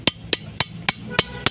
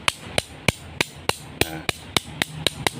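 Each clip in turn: First: genuine spring steel machete blade, ringing. Second: dull, low-grade iron machete blade.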